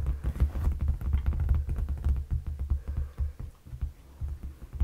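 Fingertips and short nails tap and scratch the surface of a dark padded leather sofa cushion. The result is a quick, irregular patter of soft, dull thumps, heavy in low-end energy around 74 Hz, with very short decays and faint scratchy texture between taps.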